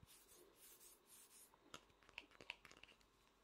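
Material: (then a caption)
Vinyl. A fingertip and nail scratch the face of a small, hollow vinyl Funko Pop figure held sideways. Soft, airy rubbing swells fill the first second and a half. About eight sharper, bright scratching clicks with a faint ring near 2.7 kHz follow, each dying away almost instantly.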